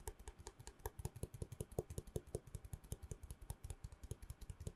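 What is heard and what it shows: A long hollow cardboard tube, held in both hands close to the mic, is tapped quickly with long nails. The result is a fast, slightly uneven stream of short, hollow knocks, mostly low and dull with a faint tone around 430 Hz. Each knock carries a small bright nail click and dies away almost at once.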